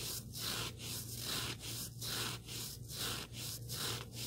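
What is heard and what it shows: Fingertips rub and scratch the abrasive surface of a small, solid black sanding sponge block held close up. The result is a steady run of bright, hissy scratching strokes at a fairly even pace of roughly one per second. A low, constant hum sits underneath.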